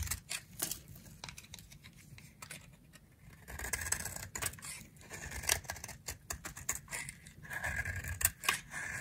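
A dry, solid round pink soap held in a palm with long nails is shaved with a utility knife blade. Quick, crisp scraping strokes come in bursts, bright and dry with almost no ring, over a faint low rumble.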